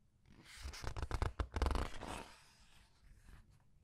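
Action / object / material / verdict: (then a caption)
scrape / paper pages of a large art book / paper / none. Fingertips with red nails turn and rub the paper pages of a large art book. Soft rustling and scratchy paper scrapes rise into a dense cluster of quick strokes, then fade to faint brushing.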